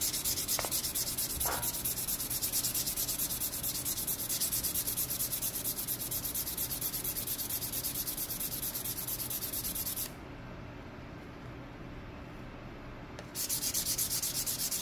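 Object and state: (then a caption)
Leather strip edge being sanded. A hand-held fine-grit sandpaper block is rubbed back and forth along the edge of a small, solid, folded green leather strip held in one hand. It makes a steady, bright, scratchy rasp of quick strokes. The rasp stops for about three seconds near the end, then resumes.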